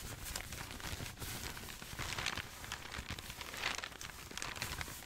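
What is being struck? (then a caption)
Sheets of old paper. Hands fan through a stack of aged, crinkled, yellowed paper sheets, then hold up a single large sheet and crinkle it while fingertips with dark nails rub and rustle the paper. The result is a steady, dense stream of bright crackling crinkles and dry rustling with a little low rumble beneath.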